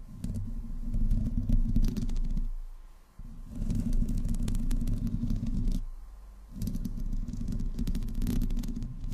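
Long nails of both hands slowly scratch the metal grille and body sides of a black desktop microphone. The close contact produces a dense, low, rumbling scrape with crackly texture, coming in three long stretches separated by two brief quieter dips.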